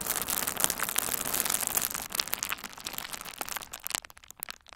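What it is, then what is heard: Plastic bubble wrap being crinkled. A hand-sized bundle of pink and red plastic bubble wrap, with hollow air-filled bubbles, is held and squeezed with the fingertips of both hands. It gives off a dense, bright crinkling with sharp pops. The sound thins after about four seconds into sparser, separate snaps.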